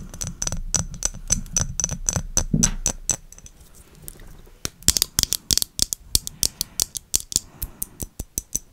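Long acrylic nails tap and scratch a clear, thick-walled, rectangular glass perfume bottle with a silver metal cap, held close to the microphone. A quick run of sharp, bright clicks, each carrying a faint high glassy ring, plays over soft low scratching. After a quieter stretch in the middle, louder, crisper taps follow.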